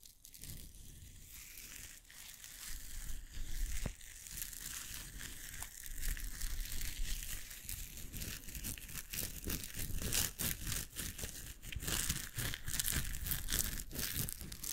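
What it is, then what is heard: Nylon mesh bath pouf. A blue plastic-nylon mesh shower pouf with a white cord, soft and hollow, is crumpled and squeezed with the fingertips of both hands close to the mic. Dense, irregular crinkling and rustling fill the clip with bright, crackly texture over a low rumble, with no pauses.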